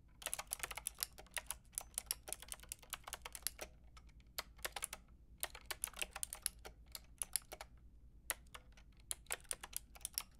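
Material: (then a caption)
Plastic. Long painted nails and fingertips type on a white-and-pink Lofree mechanical keyboard with round plastic typewriter-style keycaps and a hollow plastic case. The result is a quick run of sharp, bright, clacky keystrokes that die away almost instantly, with two brief pauses before the typing resumes. The clicks sit over a quiet low hum.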